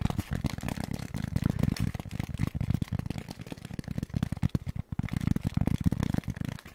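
A styrofoam block is tapped rapidly and continuously with fingers, giving a dense run of bassy, sticky taps. Each tap is short, dull and low with almost no ring, and the rhythm pulses in quicker and slower bursts.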